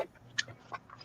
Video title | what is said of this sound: Monday night crafting | shake it you hear the seeds inside of it